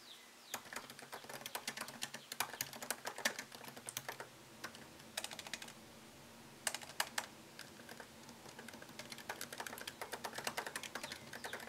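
Fingertips type on a MacBook Pro laptop keyboard, striking plastic keycaps set in an aluminium body. Quick, bright clicks come in uneven bursts with short pauses between them, each tap dying away almost at once over a faint, steady low hum.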